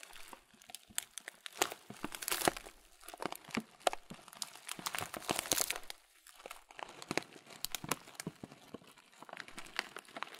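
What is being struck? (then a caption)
Thin plastic bag of oat muesli. A transparent thin plastic bag, held upright and partly full of oat muesli with raisins, is squeezed with thumbs and fingers. Dense, bright crinkling and crunching rustles come in overlapping bursts throughout, with brief quieter pauses between squeezes.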